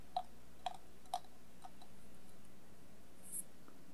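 A hollow stainless steel bowl, held upside down and covered with colored tape and sequins, is tapped and scratched with long nails. Three clear, light taps with a ringing tone near 730 Hz are followed by a fainter tap and a brief, bright scratch. The sound is quiet and sparse.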